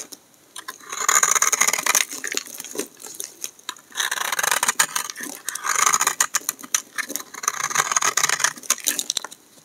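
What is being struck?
Bar of soap shaved with a knife blade.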